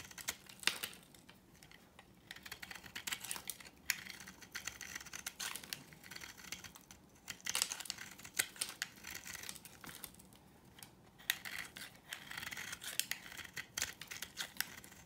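A dry, solid yellow oval soap bar is carved with a utility knife blade, giving a steady run of crunchy, crumbling shaving sounds. The many short, bright crackles and snaps are dense and overlapping, with almost no low end.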